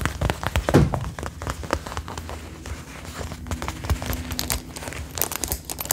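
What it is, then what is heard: Faux leather jacket, tapped and scratched. Long nails on both hands scratch and tap the front chest panels of a worn brown faux leather jacket in a rain-like pattern. The result is a steady patter of quick, crinkly taps and scratchy rustles, with soft low thuds under bright clicking edges.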